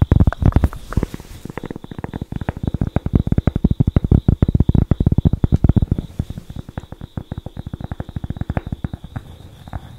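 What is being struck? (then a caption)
Thin flat cork board. A thin, flat cork board, held in front of the microphone and briefly held above the head, is scratched and tapped with long acrylic nails. The result is a rapid, continuous run of soft, dull, low thumps with very short, dry decays and a faint scratchy texture, plus a faint steady tone just under 4 kHz. The tapping thins out slightly toward the end.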